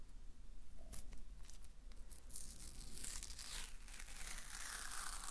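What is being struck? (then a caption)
Paper masking tape. A strip of thin white paper masking tape, held between both hands and stuck to itself adhesive side to adhesive side, is peeled and stretched apart with the fingers. It makes a dry, crackling tearing sound of quick sticky snaps that grows into a denser, brighter peeling hiss over a steady low hum.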